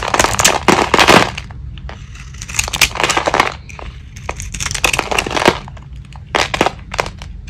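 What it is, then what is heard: Dry soap bar being carved. A metal blade shaves, scrapes and carves the painted crust off a small, solid oval bar of dry soap held in one hand; the surface is painted purple with glitter, and the cream-coloured soap shows through underneath. The cuts make dry, crunchy, crumbling scrapes in bright bursts separated by short pauses, over a faint steady low hum.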